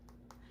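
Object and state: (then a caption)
Firm ripe delicata squash. Two light fingertip taps on a firm, ripe delicata winter squash give short, dull, plasticky clicks over a low steady hum. The firm, plasticky sound marks a good squash to pick.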